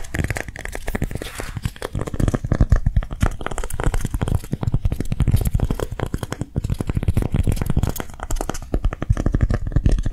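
A hand-sized piece of dried pink lightweight clay is held and scratched and tapped with long nails. The result is a rapid, continuous run of short, dull, low-pitched taps mixed with dry scratching and crinkling, with no ring after each hit.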